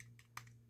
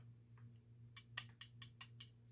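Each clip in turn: First: plastic model locomotive boiler. Second: die-cast metal model running board.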